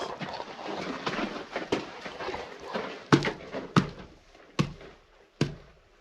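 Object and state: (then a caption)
Hollow mine tunnel floor. The floor of a mine tunnel is struck several times, giving sharp, short thuds with a low, hollow tone after a stretch of rustling noise. The floor sounds hollow rather than solid.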